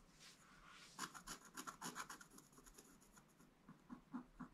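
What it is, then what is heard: Scratch-art card being scratched. A wooden stylus scratches lines into a flat, black-coated scratch-art card page. A soft, steady rubbing gives way to a quick run of short, dry scraping strokes with a bright, rasping edge. The strokes then thin out into a few separate scratches toward the end.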